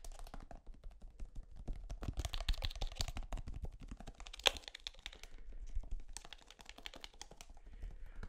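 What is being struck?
Plastic toothpaste tube.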